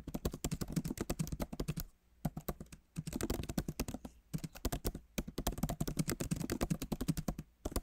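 Fingertips of both hands type fast on the plastic keys of a solid, backlit MacBook Pro keyboard set in an aluminum body. Dense runs of short, dry clicky taps with a low thock and little brightness, broken by brief pauses near 2, 4 and 5 seconds.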